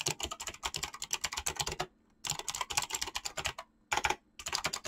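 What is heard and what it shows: Fingertips type fast on a mechanical keyboard with clicky switches and PBT plastic keycaps, producing around thirty sharp, bright, crisp clicks. The clicks come in quick bursts separated by short silent pauses near the two-second and four-second marks.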